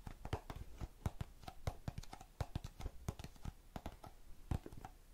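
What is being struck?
Plastic tub full of cotton swabs.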